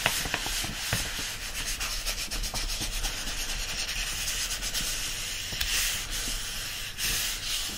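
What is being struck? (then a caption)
Paperback book paper pages. A thick block of pages of an open paperback book is held upright, pinched between both palms, and the paper pages are gripped and rubbed against each other. The result is a steady, dry, papery rubbing and scratching with a bright hiss, broken by a few brief louder scrapes.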